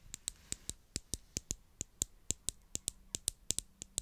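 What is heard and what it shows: Long acrylic nails tap and scratch the sides of a small purple plastic glue stick tube with a cap, held in hand near the mic. About 20 sharp, dry clicks come in a quick, uneven rhythm over four seconds, each bright and high with almost no ring, over faint scratchy rustling between the taps.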